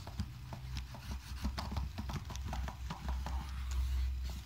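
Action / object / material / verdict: scrape / aluminium laptop keyboard / aluminium / none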